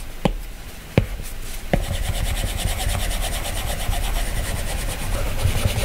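A plastic-tipped stylus taps three times on a glass iPad touchscreen, tapping the color picker, then draws continuous strokes across the glass. The strokes make a steady, soft scratching rub with a low, dull body and a faint bright hiss, while the taps land as short, sharp clicks.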